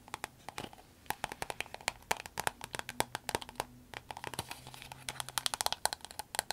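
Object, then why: Soft vinyl glasses case. A soft green vinyl glasses case is tapped on a table, then lifted, squeezed and tapped with long nails. Dense, quick, dry clicks and taps with a bright, papery edge and faint crinkling between them. Each tap dies away almost instantly, and they crowd together like light rain.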